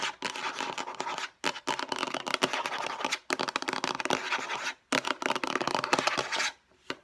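Long nails rapidly tap and scratch the lid of a hollow, light blue plastic storage box. The result is a dense, bright clicking and scraping with little low end, broken by a few short pauses.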